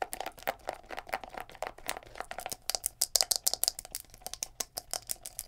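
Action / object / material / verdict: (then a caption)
tap / plastic scalp massager with silicone bristles / plastic / none. Long nails rapidly tap the plastic shell and knob handle of a palm-sized black plastic scalp massager brush held in the hands, and flick its silicone bristles. The result is a fast, uneven stream of sharp, dry clicks and ticks, bright and crisp with almost no low end, each dying away instantly.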